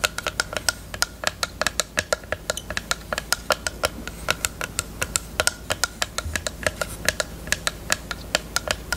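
Long nails tap and scratch a small, hollow pink plastic eyelash case with a mirror lid. A rapid, uneven stream of about fifty sharp, bright clicks with almost no ring comes through, over a soft, steady low background hum.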